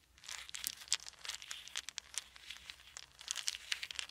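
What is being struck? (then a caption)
Small wooden beads. Small solid wooden beads are held in both hands and rolled between the fingers above a pile of beads on a blanket. The result is a steady stream of crisp, bright clicks and soft rattling, with sharper clacks standing out at moments and almost no low end. Each tap stops instantly with no ring.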